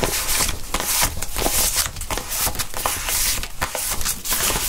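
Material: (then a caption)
Polymer plastic. Gloved hands count a stack of thin plastic (polymer) 20 banknotes over a blue mat, flipping, rubbing and dealing the notes onto a pile. The result is a steady run of crisp, bright crinkles and sharp snaps over a soft rustling bed.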